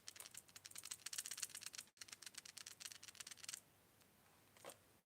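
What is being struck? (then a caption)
Plastic lipless crankbait lure with internal rattle. A plastic lipless crankbait lure with a soft knock internal rattle is shaken, giving rapid, bright, high-pitched clicking taps in two bursts split by a brief pause. The tone sits between a rattle and a knock, a "two tap" sound. The tapping stops after about three and a half seconds, and one faint tap follows near the end.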